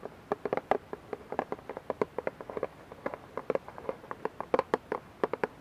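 Long nails tap and scratch the sides of a clear plastic dish soap bottle with a label, partly filled with liquid and held in both hands. About 35 quick, light clicks sound in an uneven patter, each with a hollow tone near 500 Hz that dies away almost instantly, over faint scratching.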